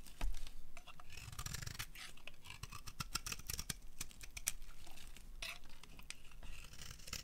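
A solid cream dry soap bar, held in both hands, is scraped by a metal blade that pulls shavings and strands off its surface. The clip is a steady run of quiet, dry, crisp scraping and crackling strokes with bright edges over a low rumble, and some sharp clicks stand out.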